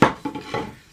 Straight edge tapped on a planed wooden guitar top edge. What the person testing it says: it sounds solid cuz it's touching all the way along the length